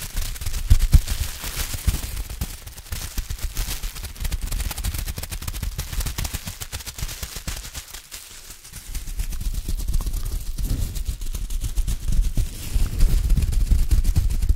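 A sheet of clear plastic bubble wrap is held in both hands, crinkled and squeezed with the fingers as bubbles pop close to the mic. Dense, rapid crackling pops with heavy low thumps run throughout, easing briefly about two-thirds of the way in before picking back up.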